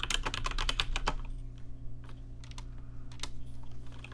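Fingertips type on a rainbow-lit RGB mechanical keyboard with plastic keycaps, giving a quick, dense run of bright clicky keystrokes for about the first second. Slower, scattered taps follow over a steady low hum.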